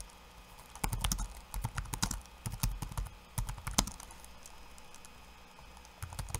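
Fingertips of one hand type on a backlit laptop keyboard with plastic keycaps, giving quick, dry clicks and taps in uneven bursts. A brisk flurry of keystrokes in the first four seconds is followed by a near-silent pause and a few final taps at the end.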